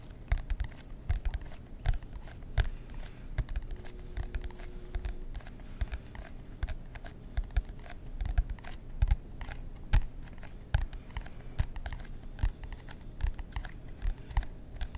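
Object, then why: Cardboard notebook cover. Fingernails scratch and tap the front cover of a marbled composition notebook with a cardboard cover, held in both hands. Dozens of quick, dry taps and scratching strokes come in an irregular rhythm, each cut off almost at once with no ring. The sound is soft, heavy in the lows, and has a faint scratchy texture.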